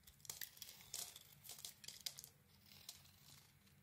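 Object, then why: Bar of soap. A solid pink soap bar with an orange glitter coating, held in the hand, is carved with a utility blade to shave and scrape off slivers. Quiet, bright, crisp scraping strokes come in quick bursts with a crinkly, tearing texture. They thin out toward the end over a faint low hum.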